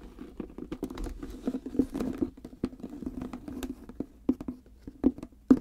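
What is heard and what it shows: Long red-painted nails tap and scratch the top of a reddish-brown croc-embossed leather hard case with a brass clasp, lying flat. The hollow case answers with a quick, uneven patter of dry clicks and soft scratching over a low, hollow body tone around 250 Hz. Each tap dies away almost at once, and a few sharper taps stand out near the end.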